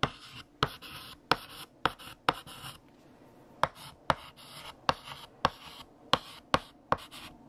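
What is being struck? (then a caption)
Chalk on a painted chalkboard. A stick of pink chalk held in the fingertips scratches across a large, flat, solid black chalkboard with a painted surface while writing text. Twelve sharp, dry chalk taps, each followed by a brief bright scratchy stroke, come with short pauses between them.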